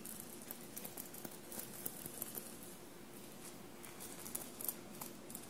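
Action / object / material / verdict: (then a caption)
scrape / cotton shirt covered in small metal paillettes / sequined fabric / none. Long blue-painted nails softly scratch the textured surface of a bunched navy cotton shirt covered in small silver paillettes. A quiet, steady scratchy rustle runs throughout, with six brief, bright clicks as the nails catch on the paillettes.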